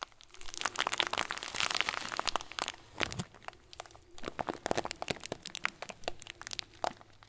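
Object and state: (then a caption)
Plastic bag of small plastic beads. A clear, hand-sized plastic bag full of small white plastic pearls is pressed and crinkled between fingers and thumb. It gives a dense run of bright crinkles, with crisp crackles and small crunches as the beads shift inside. The sound swells through the first few seconds, eases briefly, then returns in sharp bursts.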